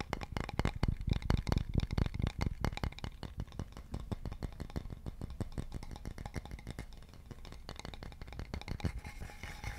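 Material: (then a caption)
Wood. Fingertips and nails tap and scratch along a solid, polished, leaf-shaped wooden board with a central hole, held diagonally. Quick, irregular, dry taps with a low, thudding body come in a dense stream. They are loudest over the first few seconds, then settle into softer tapping mixed with light scratching.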